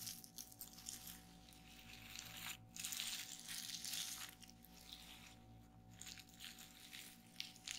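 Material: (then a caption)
Plastic. A flat sheet of clear plastic bubble wrap on a wooden table is pressed by long nails and fingertips, popping the bubbles. Bright, crinkly crackles and irregular snapping pops come in quick, uneven bursts over a faint steady low hum.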